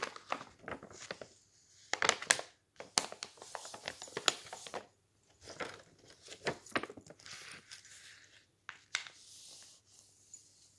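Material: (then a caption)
Paper. A flat hand and fingertips rub and press thin, glossy printed magazine pages lying open on a stack of magazines on a table, then curl and crinkle the page edge. The result is irregular bursts of bright, crackly crinkling and rustling with sharp snaps, separated by brief quiet gaps.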